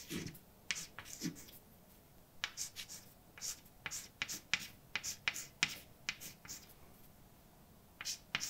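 A hand writes words with a white chalk stick on a large, flat, dark painted blackboard with a solid surface. Bright, dry scratching strokes and short taps come in irregular bursts, separated by brief pauses. There is little low end, and each stroke ends almost at once.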